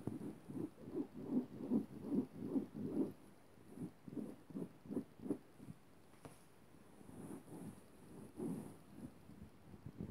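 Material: Cotton.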